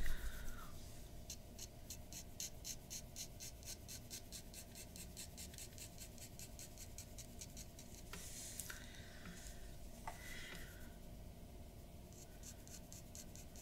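A glass dip pen nib scratches quick, repeated strokes across a white paper sheet resting on a wooden desk, shading the lips and chin of an ink portrait. The strokes come as a steady run of soft, bright scratches over a low, constant background hum, with a few longer, heavier drags partway through.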